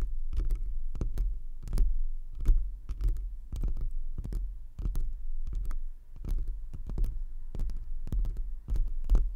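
Both hands scratch and tap, with long acrylic nails and fingertips, on a soft black foam windscreen that wraps the grille of a pink rhinestone desk microphone, close to the capsule. The result is a steady run of muffled, deep thumps over a low rumbling hum, with short papery crackles flicking up at each tap.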